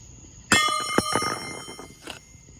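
A steel camshaft is dropped onto the T6 flange of a 1.0 A/R metal turbine housing out on the street. It strikes with a sharp, bright metallic clang and a second hit that rings with clear bell-like tones before fading. The camshaft stays intact and does not break.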